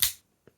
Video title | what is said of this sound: New knife & pen day 🎁 unboxing. | I'm not firing that out hard you just have to break the detent